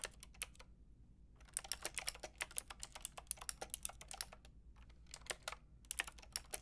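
Long painted nails and fingertips type on a white-and-pink Lofree mechanical keyboard with round plastic typewriter-style keycaps and a hollow plastic case. Bright, dry clicky clacks come in quick bursts with brief pauses, each stopping instantly with no ring over a faint steady low hum.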